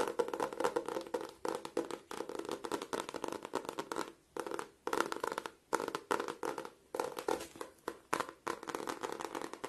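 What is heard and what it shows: An A5 spiral notebook with a glossy floral laminated cardboard cover and a metal wire spiral is held in both hands while fingertips and nails tap and scratch across the cover. The result is a dense, dry run of quick clicks and scratchy rustles in bursts, with short pauses between them and a mid-to-upper bright texture.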